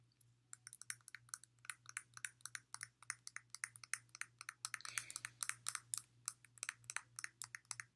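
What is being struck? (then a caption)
Glass water bottle. Long nails repeatedly tap the thick glass base of a clear glass water bottle, partly filled with water. The result is a quick, uneven stream of sharp, bright clicks with almost no ring, over a faint, steady low hum.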